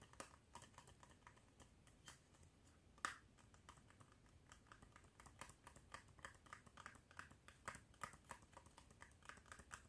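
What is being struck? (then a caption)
Small cardboard medicine box. A small, hollow, yellow printed cardboard box of Bach Rescue Remedy packaging, its flaps possibly open, is held in both hands over a wooden desk and tapped and handled with fingertips and nails. The result is a quiet, steady stream of light, dry, short clicks and taps like soft keyboard typing. One sharper tap stands out near the three-second mark.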